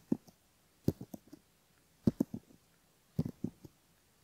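A bamboo ear pick scratches the inner folds of the outer ear on a soft silicone left ear model with a mic in the canal, while fingertips steady the ear. Short, soft, low scraping clicks come in four close clusters, each dying away almost at once, with silence between them.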